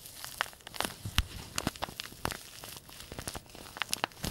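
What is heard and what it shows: A small white-and-green printed paper tea bag sachet, held in both hands, is crumpled and crinkled with the fingertips. Dry, papery crackles and sharp bright snaps come in quick, uneven bursts over a soft rustling bed. Each crinkle dies away almost at once, leaving a close, brittle texture.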